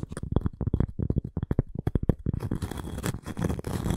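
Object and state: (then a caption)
Cork and wood coaster. Long nails tap quickly on the face of a round, flat cork coaster with a wooden rim, held in both hands. The dull, low taps are short and close together. After about two and a half seconds they give way to steady, rough scratching across the cork.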